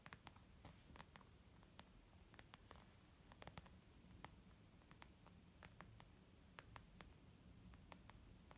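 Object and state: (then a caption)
Leather makeup bag. Slow, gentle tapping on a leather makeup bag, with about two dozen soft, short taps spread unevenly over the clip. Each tap is a brief dry click with a bright edge and no ring, set against a quiet, low rumbling background.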